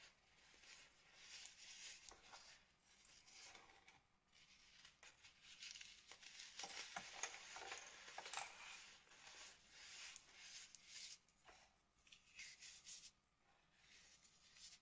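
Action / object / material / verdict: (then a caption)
scrape / crumbly mass of sand and cornstarch powder rubbed by hand / sand, cornstarch / none. Both hands squeeze, rub and press a crushed sand and cornstarch flower, now mostly pink powder and clumps on a plastic sheet, working the powdery, crumbly mass with fingertips and palms. Soft, bright, crackly crunching and gritty rubbing come in irregular bursts, almost all in the high range with very little low end. Each crumble dies away quickly.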